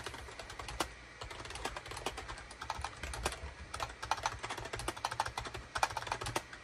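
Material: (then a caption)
Plastic. A full-size wired USB SHIPADOO K600 keyboard with a gray plastic case, hollow body, and cream, gray and orange plastic keycaps sits on a desk mat and is typed on rapidly with the fingertips of both hands. A steady stream of short, dry plastic clacks with a bright edge comes in uneven bursts, each key press dying away almost instantly over a faint low hum.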